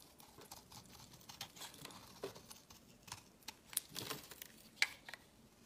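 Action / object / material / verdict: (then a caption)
scrape / bar of soap shaved with a steel blade / soap / none. A palm-sized solid white bar of soap, held in the hand, is scraped and shaved with a steel utility-knife blade, curling off shavings while a second black soap bar sits untouched on the table. Quiet, bright, crisp scraping and crinkling strokes are heard, broken by a few sharper clicks that die away almost instantly.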